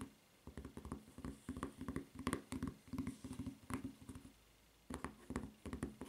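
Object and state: Rubber flip-flop footbed.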